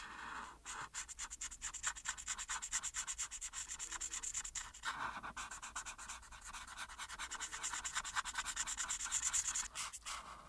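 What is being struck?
Marker tip on a paper sheet over a board.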